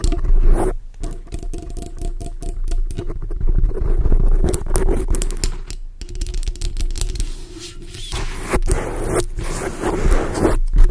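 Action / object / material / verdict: scrape / foam microphone windscreen / foam / none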